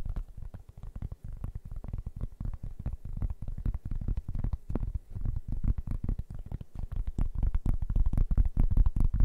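A large, round, flat cork board, solid and thin, is held in both hands while fingertips and nails tap and scratch across its surface. The result is a fast, uneven stream of dull, muffled thuds, deep and boomy with almost no brightness, each dying away almost instantly and growing somewhat louder toward the end.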